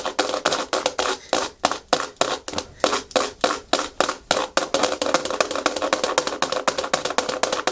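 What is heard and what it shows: Natural fingernails tap and scratch fast and aggressively on a hard plastic surface. Sharp, dry clicks with a bright edge and a hollow tone around 530 Hz come in uneven bursts, starting as separate taps and then packing into a denser run of quick taps and scratches. Each hit dies away almost at once.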